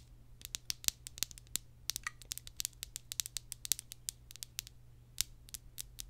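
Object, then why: Plastic deodorant stick case. Long acrylic nails tap and scratch the top and sides of a hand-sized plastic deodorant stick, a solid stick inside a hollow case held in one hand, with some possible crinkle from leftover wrapping. Over thirty sharp, bright clicks and scratches come in a quick, irregular patter, each dying away almost instantly, over a faint steady low hum.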